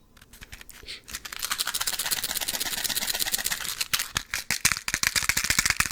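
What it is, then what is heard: Box of matches rattling. A box of matches is handled and shaken, the matches rattling loose inside. Sparse, bright clicks build into a dense, steady rattle, then break into sharper, separate clacks toward the end. There is almost no low end.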